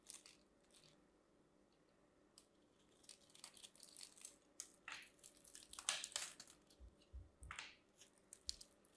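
A craft knife cuts and scrapes the crosshatched surface of a solid teal and white striped bar of soap held in a hand with long nails, crumbling pieces of soap off. Quiet, bright, crisp scraping and crunching comes in irregular bursts, with a few soft low thumps near the end.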